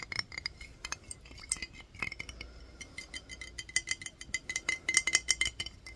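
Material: Glass.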